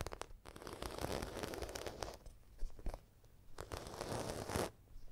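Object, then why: Embossed faux leather zippered pouch. Long nails scratch and tap across the croc-embossed surface of a medium red zippered makeup bag made of faux leather, held up close. Dry, crinkly scratching rubs on in bursts, broken by sharp little taps and brief quiet gaps.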